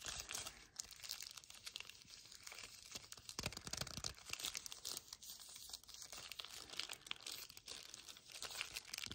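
A full yellow cardboard chocolate bar box, held horizontally, is gripped and scratched by fingertips with painted nails. This produces a continuous run of quiet, bright crinkling and scratching sounds with quick, dense bursts and almost no low end.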